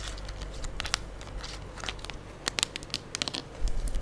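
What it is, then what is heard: Plastic soap pump bottle tapped and scratched with nails. A full gold plastic liquid soap pump bottle is moved from side to side close to the mic while long acrylic nails tap and scratch it. Sharp, bright clicks and scraping crackles are heard over a low, steady rumble, with a brief louder stretch near the end.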